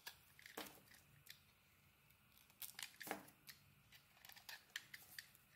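A utility blade scrapes and carves the surface of a solid, hand-sized white bar of soap with pink dots. The result is a quiet series of short, dry, bright scraping and shaving strokes, with crisp crackling peaks and very little low end.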